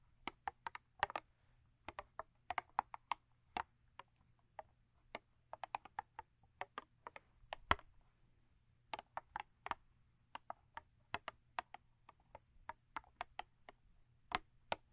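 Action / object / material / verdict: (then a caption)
tap / thin cardboard toothpaste box / cardboard / none. Long acrylic nails tap the end of a thin cardboard Crest toothpaste box lying lengthwise, producing about 45 quiet, sharp, dry clicks in an irregular, quick rhythm. Each tap is short and bright with almost no ring, over a faint steady low hum.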